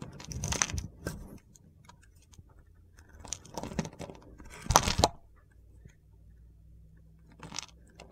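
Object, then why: Bar of soap. A solid mint soap bar with a blue glitter base, held in the hand, is scraped with a box-cutter blade. Short bursts of dry, crunchy, gritty scraping come in irregular clusters, each with a bright, crisp top, separated by quiet pauses.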